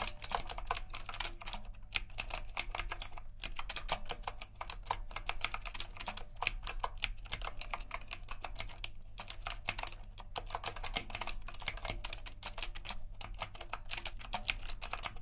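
Both hands type with their fingertips on a backlit retro typewriter-style mechanical keyboard with round plastic keycaps and a metal frame. Rapid, crisp clicking keystrokes come in bursts with brief pauses, each click sharp and bright with almost no ring. A faint low hum sits underneath, possibly faint music.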